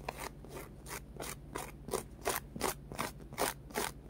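Fingernails scratch a small, solid, orange polyurethane foam carrot squishy with a textured crosshatch surface. A steady run of soft, dry, rasping strokes comes about three times a second, each a brief, bright scritch over a low hum.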